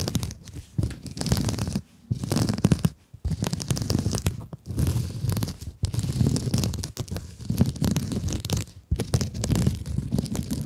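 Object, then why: Mesh-covered scrub sponge. Long nails scratch and squeeze a hand-sized blue scrub sponge with a woven mesh cover. The result is dense, rough, crunchy scratching with a heavy low rumble, coming in bursts separated by short quiet gaps.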